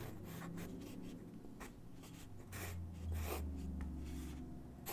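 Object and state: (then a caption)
Pencil on paper. A graphite pencil sketches on a single white sheet of drawing paper resting on a wooden desk, making soft scratching strokes. The quick, uneven bursts of bright scraping sit over a steady low hum, rising a little louder toward the end.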